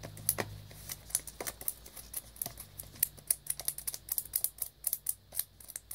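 Rapid fingertip and nail tapping on the face and side of a small black cardboard earbuds box in clear plastic shrink wrap, held close. The taps are quiet, crisp, bright clicks that die away almost instantly, speeding into a dense, irregular patter over a faint low hum.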